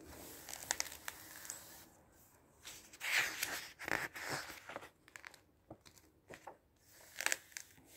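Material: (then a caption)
Glossy paper. A flat hand and fingertips rub and sweep across the glossy paper pages of a large open book lying on a table. The result is bright, crinkly paper swishes and rustles, broken up by short scratchy bursts and quiet pauses.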